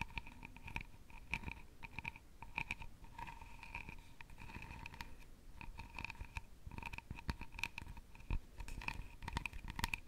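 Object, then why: Carved wooden jewelry box lid. Long nails tap and scratch across the palm-sized, hollow lid of a round openwork carved jewelry box made of wood or birch bark. Rapid, dry clicks and scrapes come in quick clusters, with a steady faint high tone running underneath. Each tap dies away almost at once.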